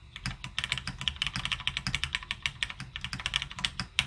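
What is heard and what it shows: Both hands type continuously with their fingertips on a full-size beige retro plateless mechanical keyboard (M0110 layout) with plastic keycaps and lubed linear switches, sitting on a desk mat. Around thirty rapid, bright, dry key clacks follow one another, each dying away almost instantly with little low-end thump.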